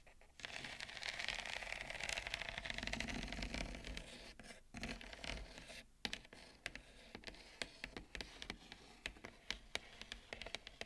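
Long acrylic nails scratch and tap the rim of a wide, shallow bamboo serving plate with a ceramic bowl of roasted pumpkin seeds resting on it. A steady, bright, rough scraping fills the first few seconds, then gives way to sharp, dry taps at an uneven rhythm over quieter scratching.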